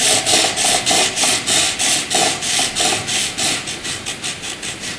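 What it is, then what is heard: Graphite pencil shading on paper. A graphite pencil fills in a dark shaded area on white paper with quick, steady back-and-forth strokes. Each stroke makes a bright, dry scratching and rubbing hiss that swells and fades in a regular rhythm, with almost no low end.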